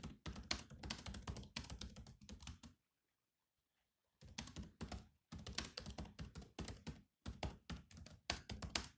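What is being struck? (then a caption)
Laptop keyboard with plastic keys. Fingertips of both hands type steadily on the low-profile plastic chiclet keys of a grey metal-bodied laptop, producing quick, dry clicks with a soft low thud under each and bright tapping on top. The typing comes in bursts, pausing fully for about a second and a half near the middle before resuming in short runs.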